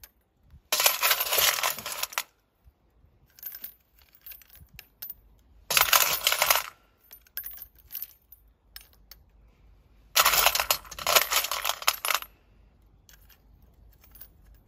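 A metal scoop or spatula pushes and stirs a pile of empty, hollow brass rifle casings, each a few cm long, inside a glowing graphite crucible. Three dense bursts of bright, jangling clinks are heard as the casings knock against each other and the tool, with quieter scattered taps and near silence between.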